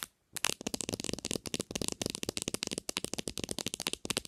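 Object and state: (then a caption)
Smartphone plastic back cover. Long nails tap rapidly on the textured plastic back cover near the camera of a black Samsung smartphone lying face-down on a white surface. After a brief silence, a fast, uneven stream of dry, bright clicks follows, each tap short and crisp with no ringing.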